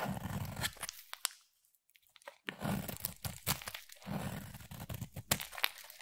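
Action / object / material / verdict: scrape / bar of soap / soap / none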